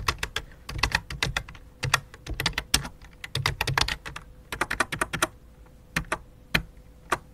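Fingertips type on a full-size white and light-blue plastic computer keyboard with a hollow plastic body. The result is a rapid, uneven run of short, bright, dry clicks with a soft low thump beneath, some keys struck in quick bursts and others alone, over a faint steady hum.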